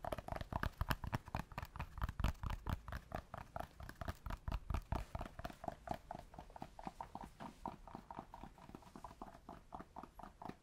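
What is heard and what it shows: Cork is tapped with rapid, irregular dull knocks, first close to the microphone and then farther away. The short, low-heavy taps sound almost like clip-clopping hooves, and they grow softer toward the end.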